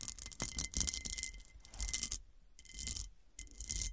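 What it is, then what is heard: Cut glass ring dish. Long painted nails scratch and tap across the faceted top of a solid, ring-shaped, heavily faceted cut glass dish lying flat. Bursts of bright, gritty scratching come in waves with quick clicking taps, and a faint thin ringing tone holds near 2 kHz beneath them. Short quiet gaps separate the bursts.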